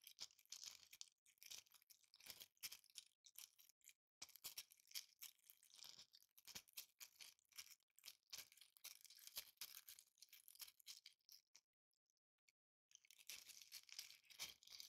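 A fist-sized green Christmas bauble coated in coarse glitter flakes is held in one hand and scratched and tapped with long polished fingernails. The result is a quiet, bright, crackly rasp made of dense, rapid clicks with almost no low end, interrupted by a short silence near the twelfth second before the scratching resumes.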